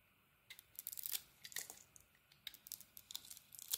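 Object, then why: Soap bar scraped with a metal blade. A metal utility blade scrapes a hand-sized, solid oval pink Balea soap bar with a polka-dot pattern, held in the hand, shaving away the surface to reveal its pale core. A quiet series of crisp, bright, crackly scraping bursts comes with short pauses between strokes, carrying almost no low end.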